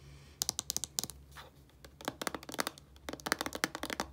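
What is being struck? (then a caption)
Small plastic shampoo bottle. Long painted nails tap and scratch on a small, hollow white plastic shampoo bottle with a blue cap. Bursts of quick, bright, dry clicks are broken by a soft scratching swipe, then continue as a denser run of about twenty sharp taps in total, each stopping almost instantly.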